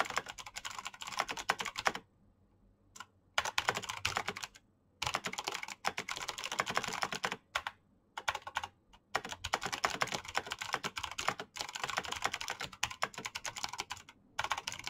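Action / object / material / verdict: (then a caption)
tap / plastic mechanical keyboard / plastic / none. Rapid fingertip typing with short painted nails on a full-size black plastic Razer BlackWidow mechanical keyboard with green clicky switches and a solid body. The keys give dense, bright, crisp clicks in fast bursts, broken by several brief pauses of near silence.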